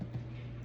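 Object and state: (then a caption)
Hollow-sounding baked loaf (baked through). A finished loaf of honey white bread, baked 30 minutes at 350°F, is tapped, giving short, dull, low thumps around 137 Hz that die away almost at once. The hollow sound shows the loaf is baked through in the middle, and it came out perfect.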